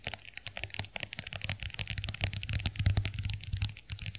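Long nails tap and scratch the case of a small, closed white plastic compact hand mirror held in the hands. The result is a rapid, irregular stream of bright, crisp clicks and scratchy ticks over a faint low hum.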